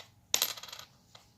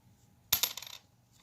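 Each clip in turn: First: A copper cent lands with a bright, high ting and a quick run of bounces before settling. Second: A small coin lands and bounces a few times with a flat, clicky sound that dies almost at once.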